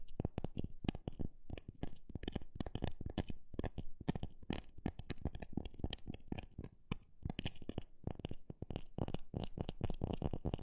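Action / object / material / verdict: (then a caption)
tap / pine wood block / pine wood / none. A solid rectangular block of light pine wood, with growth rings showing on the end grain, is tapped on its face by long black nails. The short, dry knocks come quickly in an uneven rhythm, mostly low and dull with almost no ring after each tap.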